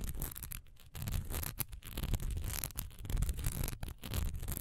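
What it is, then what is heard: Textured wax pillar candle. Long nails scratch fast along the raised diamond texture on the sides of a single solid cream wax pillar candle, which stands and is then gripped in both hands. A dense, rough, bright scratching hiss with a low rumble beneath comes in uneven bursts broken by brief pauses.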